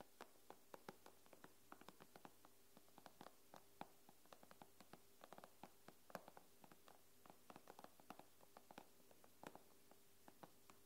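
Long nails tap and scratch the glass screen of an iPad, making about 40 quick, dry clicks in an irregular rhythm, each dying away almost instantly. The taps are quiet and sit over a faint steady low hum.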